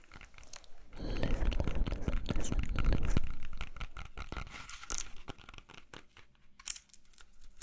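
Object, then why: Whole apple. A whole, solid red-yellow apple is held in both hands while fingernails tap and scratch across its skin. Dense crinkly scratching with low thuds builds to its loudest from about one to three seconds in, then thins into sparser, quieter taps and bright scrapes.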